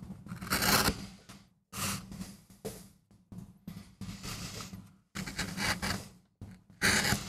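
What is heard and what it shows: A wooden-handled steel gouge scrapes and cuts into a small, flat, solid MDF relief printing block, leaving chips around it. Bright, scratchy carving strokes come in uneven bursts separated by short silences, over a steady low hum.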